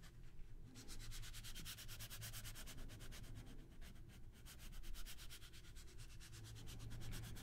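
A small deck of coated-paper playing cards is held in the hands close to the microphones while fingertips rub and slide the cards against each other. A continuous, scratchy, sanding-like rasp of quick, even strokes repeats throughout, bright and airy on top over a steady low hum underneath.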